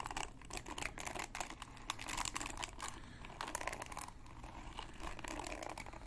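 Fingertips and nails scratch and flick across the many plastic pin bristles of a hand-sized red plastic paddle hairbrush with a black cushion pad, held in one hand. A dense, crackling stream of bright clicks and ticks follows, with short flurries and brief lulls over a low rumble.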